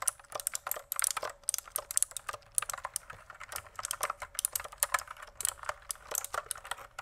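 A pink plastic mechanical keyboard is typed on with fingertips close up, giving a rapid, uneven run of sharp, dry clicks and clacks. The keystrokes are bright and short with almost no ring, some landing in quick bursts and others spaced apart across the seven seconds.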